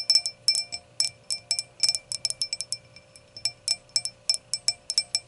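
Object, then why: Glass hurricane glass foot. Long nail tips tap and click on the solid round glass foot of an empty hurricane glass. The result is a rapid, irregular run of sharp, bright clicks, each with a brief, faint glassy ring that dies away almost at once.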